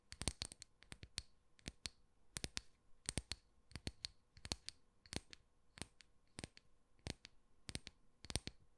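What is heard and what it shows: Long nails tap and scratch across the cut face of a round, solid slice of tree trunk with a bark edge and visible growth rings, held in one hand. Crisp, dry clicks come in quick clusters with short scratchy strokes between them. Each tap is bright and stops almost instantly, over a faint steady hum.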